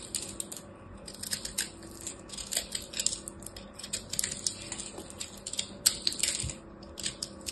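A blade is pushed into a hand-sized solid ball of pressed blue and purple soap chips, cutting through it. This gives a steady run of crisp, bright crunching and cracking snaps in quick bursts, each dying away almost at once. A few sharper cracks stand out near the end.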